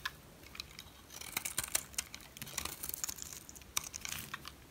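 A metal blade carves into a solid white dry soap bar, chipping pieces off it. The result is a quiet series of bright, dry crackles, scrapes and crunchy clicks with almost no low end, each stopping dead with no ring.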